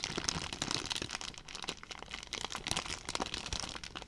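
A clear, thin plastic zip-lock bag with a blue zip strip is held in one hand and squeezed and crumpled by the fingers close to the microphone. Dense, bright crinkling crackles keep going without a break, with sharp snaps scattered throughout.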